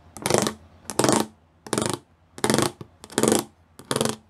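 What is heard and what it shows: Fingertips and nails tap the small square pyramid studs covering a flat grey plastic sheet. Six short bursts of rapid, bright, clicky tapping come in a loose rhythm, with quiet pauses between them. Each tap is dry and dies away almost at once.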